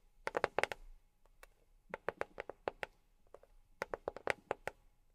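A box is tapped with silicone rubber pads on the fingertips, giving about twenty quick, crisp taps in three bursts separated by short pauses. Each tap is dry and muted, centered in the midrange with a bright click on top, and dies away almost instantly over a quiet background.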